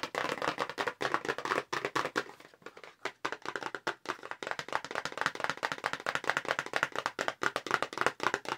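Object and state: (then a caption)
Cardboard makeup brush box. Long pink nails tap fast on the front panel of a long, narrow, hollow light-blue paperboard makeup brush box held horizontally. Dozens of dry, crisp clicks come in quick bursts, with a papery midrange and almost no low end. The tapping softens briefly in the middle before picking back up at full speed.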